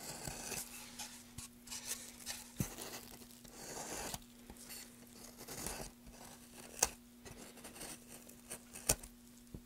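A gloved hand holds a solid, light-colored softwood board with carved grooves and scrapes and carves its surface with a small carving knife, leaving wood shavings around. Quiet, bright rasping and scraping strokes come in uneven bursts, broken by a couple of sharp, short clicks. A faint steady low hum runs underneath.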